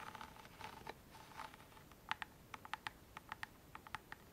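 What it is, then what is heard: Faux-leather covered wooden box. A small hollow chest-shaped wooden box covered in brown monogram-patterned faux leather with a metal clasp is held in both hands and scratched and tapped with long manicured nails and fingertips. Soft, papery scratching and rubbing fills the first half, then gives way to a run of crisp, short clicking taps with a hollow ring around 875 Hz and bright upper tones. Overall the sound is quiet and close, with little low end.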